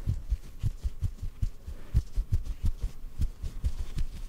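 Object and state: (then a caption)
Cotton ball. A small white cotton ball held in the fingers is tapped softly with the fingertips. It gives a steady run of muffled, low thumps with almost no ring and no brightness, like a faint heartbeat.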